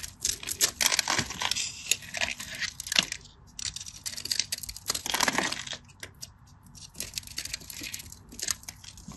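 A craft knife blade scores a solid cream rectangular bar of soap held in the hand, chipping off cubes and flakes. The sound is a dense run of crisp, bright scratching and cutting clicks with short bursts of scraping, mostly high in tone with almost no low end.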